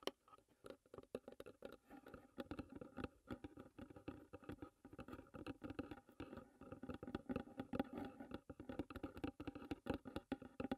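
Long nails tap and scratch on the lid and front edge of a closed, hollow wooden tea box. The result is a quiet, steady patter of many quick, dry taps mixed with soft scratching. The taps have a hollow low-mid body and die away almost at once.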